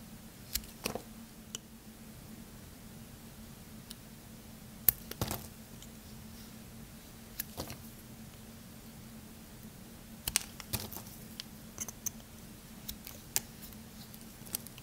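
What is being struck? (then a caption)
Bar of soap. A small dark blade is drawn along a hand-sized bar of cream-white soap with a painted dark silver top, held in one hand, peeling off thin curls that gather as shavings on the table. Short, sharp, bright scraping clicks come in scattered bursts over a quiet, steady low hum, each cut ending almost instantly.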